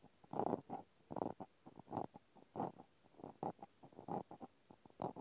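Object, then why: Plastic clothespin. A small pink plastic clothespin is held in one hand while the tip of a cotton swab scratches and pokes into its hole and slots. Quiet, soft bursts of scratchy, rustling friction come in an uneven run, centered in the low mids, with no bright edge.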